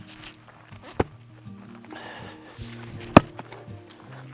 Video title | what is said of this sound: Easy Firewood Processing For A Tiny House Homestead | you swing at it and it just has like a cracking just a cracking sound